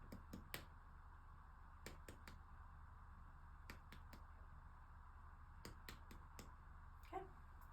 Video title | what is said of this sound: 165 - Unintentional ASMR - Assessment / Exam / Head to Toe | I'm listening for a dull sound.